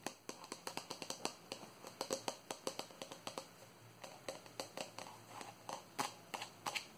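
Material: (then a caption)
Plastic. A hand-sized, hollow white plastic cylindrical jar with a green plastic lid, closed and held in the hand, is tapped on its side with long nails. A quick, uneven series of sharp, bright clicking taps with a faint hollow tone rings out, each tap dying away almost instantly, at a quiet level.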